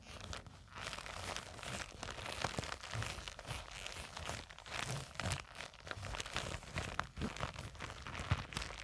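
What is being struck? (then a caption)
Nylon zippered fabric pouch. Long acrylic nails scratch and squeeze the surface of a small black nylon zippered cosmetic pouch with a white True Religion print, lying on a table and seemingly filled. The result is a dense, continuous run of crinkly, crunchy scratching with soft low thumps from the squeezing and bright fabric rustle above it.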